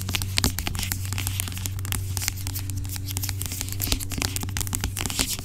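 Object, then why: Plastic pump bottle of gel. Long acrylic nails scratch and tap the sides of a large dark plastic pump bottle of aloe vera gel lying on its side, hollow and seemingly filled with gel. A dense stream of crisp, crackly scratches and light taps with bright edges runs over a steady low hum throughout.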